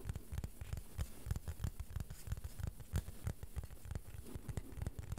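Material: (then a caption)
Plastic. A small, thin, solid, flat beige plastic board is held in both hands while fingernails gently tap and scratch its surface. The result is a quiet, rapid, irregular patter of short, dry, low-pitched taps with faint scratchy texture between them.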